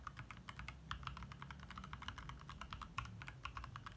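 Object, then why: Plastic mechanical keyboard. Fingertips of both hands type rapidly on a compact backlit 60% mechanical keyboard with plastic keycaps, in the dark. The result is a dense, steady stream of short, crisp plastic clacks with a bright click on each keystroke, over a constant low hum.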